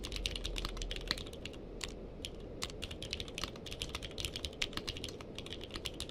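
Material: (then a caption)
Plastic. Someone types with the fingertips of both hands on a purple-cased mechanical keyboard with plastic keycaps. A rapid, uneven stream of short, bright clacking keystrokes plays over a steady low background rumble throughout.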